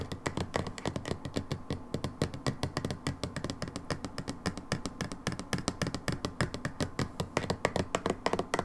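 A brown plastic hydrogen peroxide bottle lies in a hand while long nails tap quickly and steadily on its label. The result is a dense stream of short, dry, clicky taps with a hollow low-mid body and brief bright ticks that die away almost instantly.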